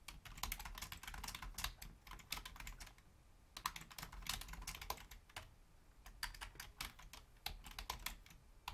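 Long fingernails and fingertips of both hands type rapidly on a full-size black plastic Logitech membrane keyboard with a hollow housing. The bright, clicky key taps come in quick bursts with brief pauses, each tap dying away almost instantly over a low, soft background rumble.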